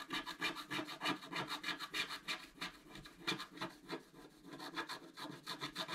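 A wooden stylus scratches a flat, black-coated scratch art card, about A4 in size, lying on a table, with rapid repeated strokes. Each stroke gives a dry, bright, rasping scrape, about three per second, in a steady uneven rhythm that briefly softens in the middle before picking back up.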